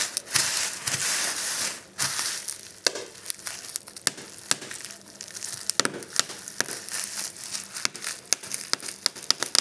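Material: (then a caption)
Plastic. A large flat sheet of clear plastic bubble wrap with air-filled bubbles lies on a table while fingertips and thumbs press and pop the bubbles. A bright crinkling rustle of the plastic fills the first two seconds, then many sharp, dry pops follow in quick irregular succession over a soft crackle.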